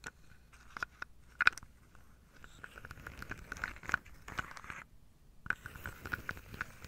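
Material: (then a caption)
Wood. Long nails and fingertips tap and scratch the tops of wooden dominoes packed into a carved wooden tray. Quiet, dry clicks with a faint ringing tone around 1.5 kHz are scattered over soft scratching and rustling, with a brief silence just before 5 seconds and then more tapping.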